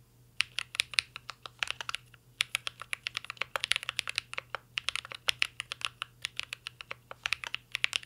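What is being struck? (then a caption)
Mechanical keyboard with metal case and plastic keycaps. Two hands type steadily with their fingertips on a full-size mint-green Cyberboard R3 mechanical keyboard with a metal case, plastic keycaps and Holy Panda switches, resting on a desk. Quick, bright, sharp keystrokes clack in dense bursts with a few brief pauses, each tap dying away almost instantly over a faint low steady hum.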